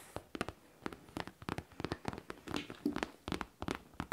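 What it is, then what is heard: Faux leather backpack. Long nails tap and scratch a hollow pink faux leather backpack with a studded front pocket and zipper, working over the leather and near the studs. About twenty short, dry clicks sound in an irregular run, each dying almost instantly, with faint scratchy rustle between them.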